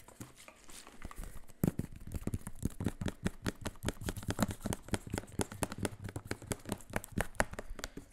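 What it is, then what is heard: Plastic spray bottle. A hollow, mostly empty clear plastic spray bottle with a white trigger head is held close and tapped and scratched with fingertips and nails along its body and label. Fast, dense, irregular taps with short, dry clicks are heard, mixed with light scratching and crinkling.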